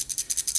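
The stainless steel bracelet with hollow end links on a Seiko 5 SNK809K1 automatic field watch is shaken, producing a quick series of bright, thin metallic rattling bursts with almost no low end. It rattles a lot, which is put down to its build quality and the hollow end links.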